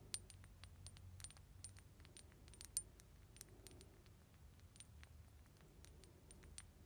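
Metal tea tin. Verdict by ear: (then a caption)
Hollow. A large traditional English metal tea tin, embossed with blue flowers, gold leaves and teacups, is lightly tapped with the fingers. The tin is quite big and gives a hollow sound. Many quick, soft, bright metallic clicks and clinks come over a low, steady rumble.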